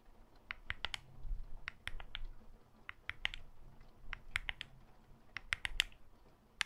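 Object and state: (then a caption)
Glass and metal smartphone. Long fake nails in black gloves tap the glass front, glass back and metal frame of a solid smartphone held in the hand, right next to the mic. About twenty sharp, bright clicks centered around 2–3 kHz come in irregular bursts, each dying instantly with no ring, over a faint low rumble.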